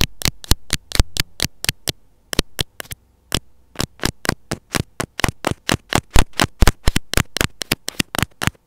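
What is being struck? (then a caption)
Plastic earphone inline mic housing. The tip of metal scissors scratches and taps on the small, hollow, white plastic housing of an earphone inline mic. About 39 sharp, bright clicks come in an uneven rhythm, with a brief pause after the first two seconds. Each click dies instantly over a faint low hum.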